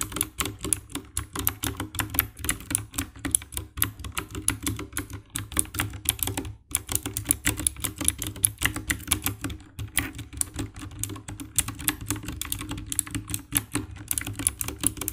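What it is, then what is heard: Plastic mechanical keyboard. Fingertips with long nails type steadily on the keycaps of a compact 60% black plastic mechanical keyboard with RGB backlight. The result is a dense, continuous run of short, bright clacking taps over a steady low rumble, with a brief pause about halfway through.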